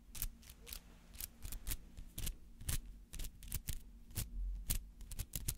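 A palm-sized white-and-green artificial flower made of rubber, with dense spiky petals, is held up and scratched with fingernails. It gives an irregular run of short, crisp, dry scratching bursts that stop quickly, over a faint steady low hum.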